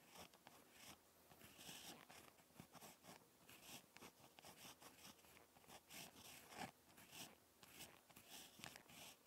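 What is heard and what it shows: A ballpoint pen tip scratches across a lined spiral notebook page while handwriting, producing a quiet, dry, bright scratching made of many short, close-spaced strokes. The strokes rise and fall in uneven bursts with brief pauses between them. No hum, voice or other background sound is heard.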